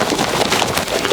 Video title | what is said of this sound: Winter Science - How to make butter | you can hear the sloshing of the liquid going back and forth and you can hear that we still have a liquid in here